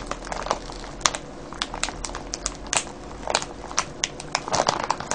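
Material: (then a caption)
Cellophane. Fingertips and nails scratch and crinkle a clear cellophane bag full of foil-wrapped candies. A rapid, uneven series of sharp, bright crackles and crinkles cuts off almost instantly, over a faint steady low hum.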